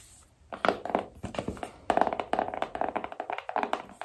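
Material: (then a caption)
Cardboard. A small rigid cardboard iPhone box is held upright and tapped with long painted nails on its printed front and side. The clip carries a rapid run of about twenty-two dry, hollow ticks and taps with a papery tone near 670 Hz. Each tap dies away almost instantly.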